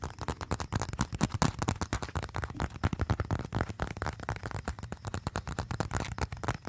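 Fingertips and nails rapidly tap and scratch the surface of a small, flat, folded brown leather wallet, possibly a leather phone case, that looks empty and slim and is held in both hands close to the microphone. The result is a fast, dense stream of short, dry, thumping taps with a low body around 133 Hz and brief scratchy rustle between them, each hit dying away almost instantly.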